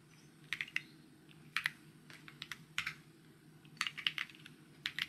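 Fingertips type on a white mechanical keyboard with plastic keycaps, producing short, bright clicky taps that come in irregular bursts and quick runs. Each keystroke is sharp and dies away almost instantly, with its energy centred around 3 kHz over a faint low background hum.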